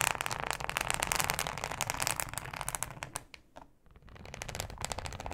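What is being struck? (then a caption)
Ribbed thin plastic cutting mat. Long acrylic nails scratch a thin, flexible, solid yellow plastic cutting board with a ribbed texture. Rapid, bright, crackly scratching strokes run densely, fade to a brief near-silence around the middle, then pick up again.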